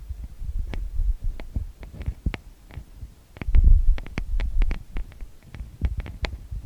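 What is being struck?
Metal mesh microphone grille.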